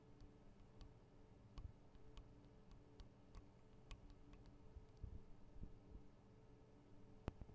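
Long acrylic nails tap on the tops of the small metal microphone capsules of a Tascam DR-40 recorder. Scattered, quiet, sharp ticks and clicks die away instantly over a steady low hum.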